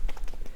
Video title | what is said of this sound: 25 Things I’m Loving Lately-Fall Fashion Trends, Beauty Favs, Skincare, Hair, Diamond Watches & More | like you hear it, it's very liquidy